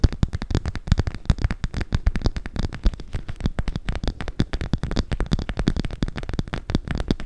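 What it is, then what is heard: Clear PVC cosmetic pouch. Long pink acrylic nails tap and scratch the sides of an empty, hollow clear PVC (vinyl) cosmetic pouch with pink zipper trim. A rapid, steady stream of short, dry plastic clicks and scrapes goes on without pause, with a thumpy, low-heavy body and very little bright top.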